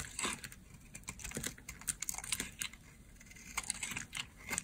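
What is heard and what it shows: A hand-held oval green bar of dry, solid soap has crumbly slices shaved off with a utility blade. The result is a quick series of crisp, bright crunching and scraping clicks with very little low end and almost no ring. The clicks are spaced irregularly, with short bursts of rapid cuts between brief pauses.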